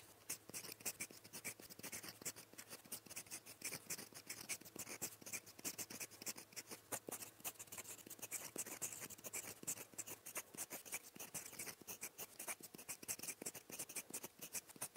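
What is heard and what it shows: A gold metal fountain pen nib, held in the fingers, writes Korean letters in blue ink across a thin, flat sheet of lined writing paper lying on a surface. The result is quiet, continuous, bright nib-on-paper scratching made of rapid, dense strokes that die away almost instantly, with almost no low end.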